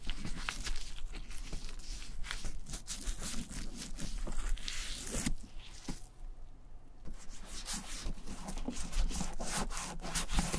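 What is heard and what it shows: Gloved hands rub balm into the tan leather handle of a vintage German satchel bag, then move on to its tan leather front pocket. The result is a steady stream of dense, scratchy rubbing and squeaking friction strokes over a low rumble, with a brief quieter stretch midway before the rubbing picks up again.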